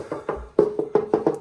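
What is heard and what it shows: A section of hallway plaster wall is tapped seven times, each tap giving a short, hollow, woody knock with a ring around 420 Hz. The plaster is blown, detached and hollow behind, and all of it will have to be knocked off.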